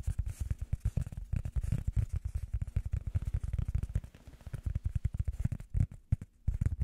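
Fingers tap on a piece of rubber foam as an ASMR tapping trigger. They make a rapid, uneven run of soft, dull, low thuds that die away almost instantly, with a brief pause near the end before the tapping resumes.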